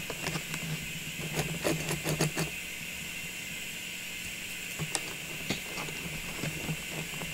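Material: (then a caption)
Plastic. Long pink nails tap on a hollow, cylindrical clear plastic tube full of small Christmas ornaments standing on a table. The result is a series of light, irregular clicking taps with brief bright edges, some clustered in quick bursts, over a steady high hiss and a low hum.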